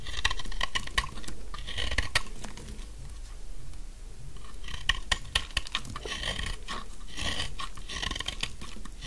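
A thin, solid pink dry soap stick held in one hand is shaved with a metal utility blade, and its crumbs fall onto a pile of shavings. Dense, crisp scraping and crunching cuts with short, bright ticks come in clustered bursts, with a low rumble underneath throughout.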